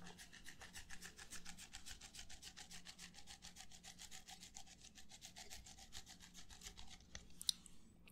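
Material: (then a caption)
Plastic. An empty, hollow red plastic party cup is held up close while fingertips and nails rub and scratch its side. The result is a fast, steady run of bright, raspy scraping strokes over a low hum, ending in one sharp click near the end.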